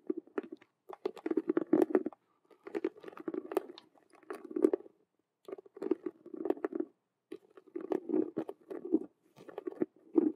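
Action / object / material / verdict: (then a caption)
tap / faux leather cube-shaped handbag / faux leather / none. Long fingernails tap and scratch fast on the stitched colored vinyl patches of a hollow faux leather Rubik's cube handbag. Dense bursts of dry, crackly tapping and scratching come in clusters separated by brief pauses. They have a hollow body around 350 Hz and sharp clicks that reach high.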